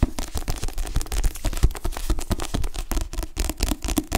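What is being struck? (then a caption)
Paperback book with cardstock cover. Fingertips with short-to-medium nails rapidly tap and grip the back cover of a dark, solid paperback book with a glossy cardstock cover and paper pages, held upright. The result is a dense run of short, dull, low thumps that die away almost instantly, with faint crisp nail clicks riding on top.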